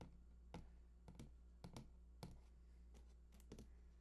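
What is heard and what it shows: Fingertips tap and scratch the side panels of a large, hollow cardboard PS4 console box held at both sides. Quiet, irregular soft taps with brief bright edges sound over a steady low hum. Each tap dies away quickly.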